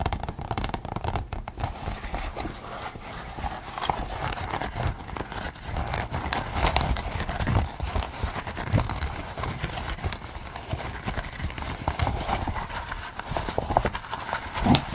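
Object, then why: Latex rubber mask. Fingertips tap and scratch a pink latex pig mask worn on the head. The result is a steady stream of soft, irregular, rubbery taps and crinkly scraping, weighted toward dull low thuds with brief bright scratchy flecks.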